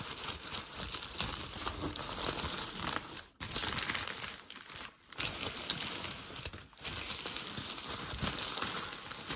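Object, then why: Thin packing paper sheet. A hand crinkles and pulls a crumpled sheet of thin grey packing paper, producing dense, bright crackling and rustling that runs almost continuously. Three brief quiet dips break the sound before the steady crinkling resumes.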